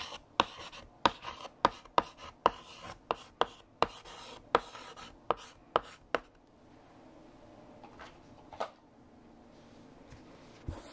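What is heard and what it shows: A hand writes on a large, flat, black chalkboard with a pale yellow chalk stick until the sentence is finished. About 13 sharp, dry chalk taps and scratching strokes come in the first six seconds, with a bright, scratchy edge. Quieter, sparser strokes follow before the writing ends.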